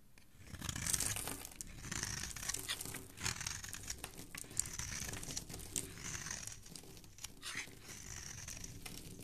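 A dark metal blade scrapes and carves shavings off the face and edges of a solid, hand-sized rectangular pink bar of soap held in one hand, with the flakes falling onto a wooden surface. The sound is a steady run of crisp, bright, crumbly scraping and shaving strokes with a soft low rumble beneath, swelling and easing with each pass of the blade.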